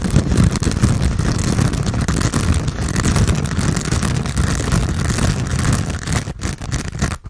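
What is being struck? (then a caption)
Foam sponge with foam handle. Fingernails scratch quickly at a hand-sized grey textured foam sponge on a tan foam base, solid and porous, held in both hands. The result is a dense, continuous, low-heavy rustling scrape with little brightness. It holds steady, then thins and briefly drops out near the end.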